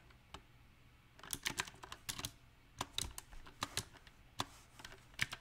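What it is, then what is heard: Mechanical keyboard with round plastic keycaps. Fingertips type unevenly on a backlit compact mechanical keyboard with round, typewriter-style plastic keycaps on a silver metal frame. Sharp, bright clacks arrive in irregular bursts and isolated taps, each dying away almost instantly over a faint background.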